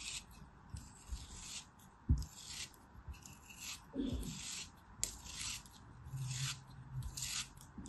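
A black craft knife, held by a hand with long white nails, slices and scrapes a small, solid molded block of beige kinetic sand. Bright, gritty scraping strokes repeat with low, soft crunches as the blade cuts through, and a few sharper snaps stand out between the rubbing passes.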